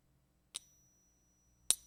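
A 1964 silver quarter is tapped twice with a wooden stick in a ping test, giving two short, bright metallic pings with a thin high ring. The coin is judged to be real silver.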